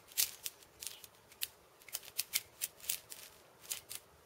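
A fingertip taps and scratches the steel beads strung on the wooden rim of a steel bead cabasa, close up. About 14 quiet, crisp metallic clicks and rattles, all bright with no low end, die away almost instantly and come at an uneven pace over a few seconds.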